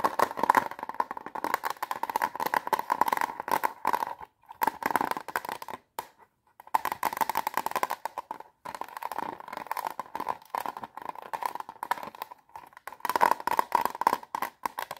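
Long nails tap quickly on the clear lid of a small plastic watercolor palette with brushes inside, held close. Rapid, dry clicking comes in dense bursts with a hollow plastic ring around 1 kHz. Brief pauses fall near 4, 6 and 8.5 seconds before the tapping resumes.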